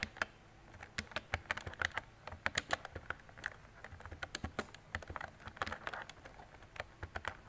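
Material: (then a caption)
Plastic. Fingertips with long decorated nails type on a mint-green retro mechanical keyboard with round plastic keycaps and a hollow body. A steady run of short, sharp plastic clicks and clacks, brightest around 1.9 kHz with a high crisp edge, stops dead after each keystroke.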